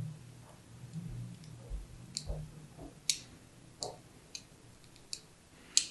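A thin needle tool scratches fine lines across a hand-held blue and white striped solid soap bar. About six sharp, bright, crisp ticks and scratches come at uneven intervals over a faint low hum, each dying away almost at once.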